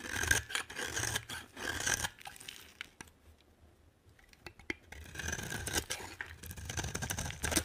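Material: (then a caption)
Soap. A solid green bar of dry soap, held by fingers with long painted nails, is scraped with a metal utility knife blade, shaving off rasping flakes. Bright, dry scraping strokes come in quick bursts, fade to near silence with a few faint ticks in the middle, then pick up again in a steadier run of rasping toward the end.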